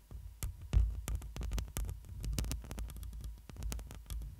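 Long pointed nails scratch across the black metal mesh grille of a hollow studio microphone while the fingers rest on the grille. The result is a rapid, uneven run of crackling scratches and sharp bright clicks over a heavy, boomy low rumble that swells and throbs with the hand's movement.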